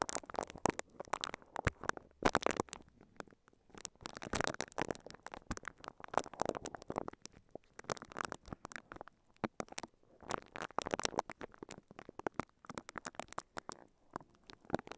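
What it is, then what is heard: Plastic-wrapped microphone being scratched. A microphone covered in clear crinkly plastic wrap is brushed and scratched with the bristles of a pink silicone scalp massager held in both hands. Dense bursts of crisp, crackling crinkles and scratchy rustles come in uneven waves, with brief quieter gaps between them.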